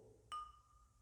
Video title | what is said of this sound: ✅Criando novas coleções com a cerâmica decorada✔️👈 | ela tá com o som de que não está quebrada ela não tá quebrada